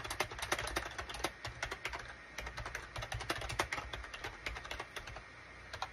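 Both hands' fingertips type rapidly on a full-size wired USB SHIPADOO K600 keyboard with a gray plastic case and cream, gray and orange plastic keycaps. Quick, bright plastic clicks and clacks follow one another in a steady stream, each dying away almost instantly over a faint low hum.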